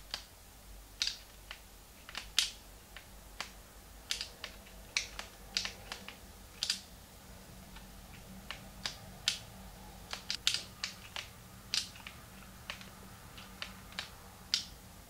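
Thumbs and fingertips click the plastic buttons of a small, hollow, translucent pink plastic Game Boy Advance with a cartridge inserted, held in both hands. About 29 short, sharp, bright clicks come at an irregular pace and stop almost instantly, each standing apart. Between them there is a quiet hiss and a faint low hum.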